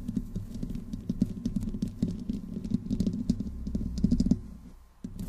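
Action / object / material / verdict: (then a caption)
scrape / metal mesh microphone grille / metal / none. Long fingernails of both hands slowly scratch the top of the hollow metal mesh grille on a black desktop microphone. The close scratching makes a dense, rough, crackling texture over a boomy low rumble, with brief bright clicks scattered throughout. It fades out near the end, then resumes abruptly.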